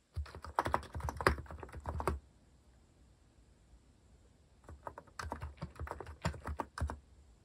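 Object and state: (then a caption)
Plastic mechanical keyboard. A compact white-cased Hanmumu mechanical keyboard with plastic cat-themed keycaps is typed on steadily with fingertips. Two bursts of quick, clacky keystrokes with a deep, thocky low end are separated by a pause of about two and a half seconds. Each keystroke is short and dry with almost no ring.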